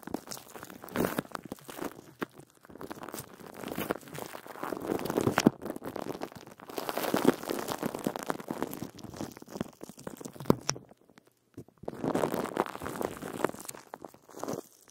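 Fingertips and short nails scratch and rub the metal mesh grille of a large silver condenser microphone covered in loose clear plastic wrap. Dense, crinkly plastic crackles and rustles come in bursts, with brief quiet gaps near 11 and 14 seconds.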